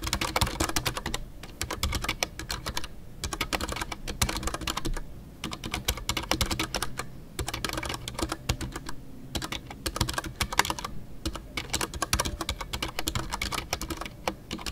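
Fingertips type continuously on a full-size Ducky One 2 mechanical keyboard with a white case, MX Brown switches and custom artisan PBT plastic keycaps. Dense runs of short, dry clacks carry a deep thocky body and bright key-top ticks. Brief pauses break the typing into bursts.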